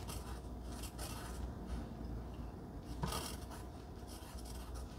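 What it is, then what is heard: Pencil writing on cardstock. A wooden pencil scratches and writes across a flat pink cardstock heart cutout lying on dark fabric, held by fingers with long glittery red nails. A soft, continuous raspy scratching rubs along the paper with faint low rumble underneath and brief brighter bursts of scraping.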